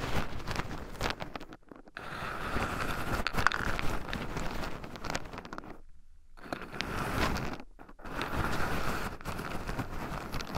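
Two wooden chopsticks stir and poke through a small wooden bowl heaped full of raw shelled pine nuts, with two black microphones buried in the pile so the nuts rub against them too. The result is a close, continuous crunchy rustling and scratching with a low rumble, broken by brief silent gaps where the stirring pauses.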